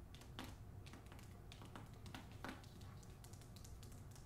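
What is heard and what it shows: Long acrylic nails on both hands tap and scratch the back cover of the hardcover book "Olga Dies Dreaming," its paper dust jacket wrapped over cardboard. The result is a steady run of quiet, quick clicky taps with bright edges, mixed with soft scratching over a low, constant rumble.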